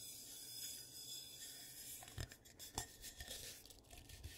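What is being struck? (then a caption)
Glazed ceramic bowl. Fingertips and medium nails rub and scratch the outer wall and rim of one medium dark-brown glazed ceramic bowl with a carved foot, hollow and empty, set upside down and then tilted on a carpeted surface. A quiet, steady, bright rubbing hiss gives way to a series of sharper scratches and short scraping strokes with a faint low thump beneath them.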